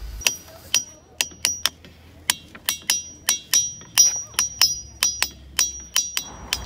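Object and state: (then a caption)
Ringing rock with a bell-like tone. A hammer strikes a natural boulder at Ringing Rocks Park, Pennsylvania, 20 separate times in an uneven rhythm. Each strike gives a sharp, bright, bell-like "kaan" ring pitched high that fades quickly between hits. The rock rings as it normally does.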